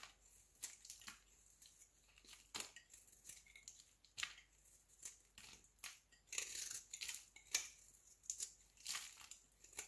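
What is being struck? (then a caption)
Soap cube. A solid, square pink Marseille soap cube held in the hand is scraped with a utility knife blade. Quick, bright, dry scraping strokes sound in a rapid irregular series, with little low end and a short decay after each stroke.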